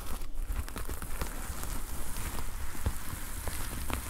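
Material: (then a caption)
Plastic. Fingers and nails scratch and brush the red and black plastic sequin fabric cover of a notepad lying flat. The result is a steady, dense rustling crackle with scattered sharp little clicks over a heavy low rumble.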